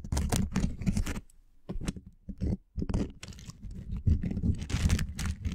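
A small, flexible wooden lattice coaster of linked solid wood blocks, draped over the top of a microphone, is scratched and tapped with short fingernails. Bursts of dense, crackly scratching and clicking come close together, with a brief quieter pause near the middle.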